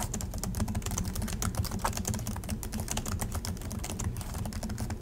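Both hands type continuously with their fingertips on the low-profile plastic chiclet keys of a silver Acer laptop. The result is a steady, rapid stream of short plastic taps and clicks, each with a dull low thud and a brief bright edge.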